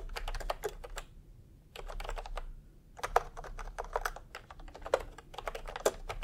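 Fingertips of both hands type continuously on a full-size pastel typewriter-style keyboard with round plastic keycaps in a hollow plastic case. Rapid bursts of short, dry clicky taps centered in the mids are broken by brief pauses, with a few louder key strikes standing out. A faint low rumble sits underneath throughout.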